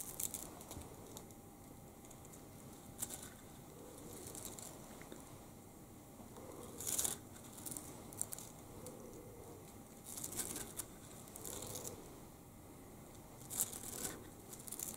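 A pink and green plastic rainbow slinky, a hollow coil spring toy, is held in both hands and stretched, compressed and shaken, so its coils clatter against each other. The result is soft, bright crinkly rustling in repeated bursts, with sharper clicky peaks, over a faint steady hiss.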